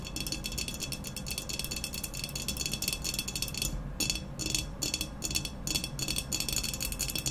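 Long nails rapidly tap and scratch the sides of an upright, hollow, black, textured ceramic vase. The result is a dense, steady stream of bright, crisp clicks and scratchy rasps with short ring. A few brief pauses break the run near the middle.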